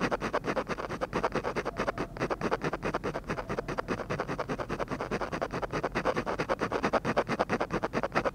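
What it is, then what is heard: Paper drawing sheet. A ballpoint pen scratches dense, short strokes across a flat sheet of textured drawing paper to shade the lips of a drawing. Rapid, steady, dry scratches repeat in quick succession, each brief and papery with a midrange rasp and little low end.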